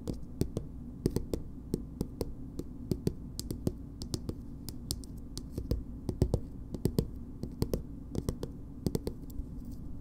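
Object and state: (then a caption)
Plastic cosmetic squeeze tube. A green plastic BB cream squeeze tube, held upright, is tapped with long nails. Many short, sharp clicky taps come at an uneven pace over a steady low background rumble, each one dying away almost instantly.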